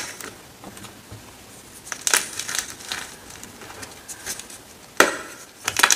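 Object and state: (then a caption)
Gym chalk blocks being crushed. Hands with long red nails crush broken slabs of solid white gym chalk (magnesium carbonate) over a pile of chalk crumbs. Dry, bright crunching and crumbling comes in irregular bursts, with sharp snaps near 2 and 5 seconds and a cluster of crackles at the end. Quiet gaps of faint rustling fall between the bursts.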